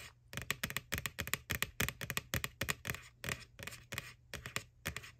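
Long nails tap rapidly on the wall of a white, hollow plastic ghost Halloween bucket from McDonald's lying on its side. The result is a quick run of dry, bright, clicky taps with almost no ring, over a faint low hum.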